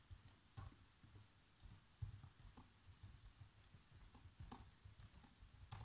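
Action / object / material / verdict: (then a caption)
tap / plastic laptop keyboard keys / plastic / none. Fingertips with short nails type fast across the keys of a black plastic chiclet laptop keyboard. Quick, uneven taps come through as soft, low thuds, each topped with a brief bright click that dies away almost at once over a quiet background.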